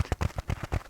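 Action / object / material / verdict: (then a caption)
tap / dish scrubber sponge / sponge / none. A dish-washing scrubby sponge scourer shaped like a black cat's face is tapped in a quick, uneven series. Each tap gives a short, dull, low thud with a slight scratchy crinkle, and the sound dies away almost at once.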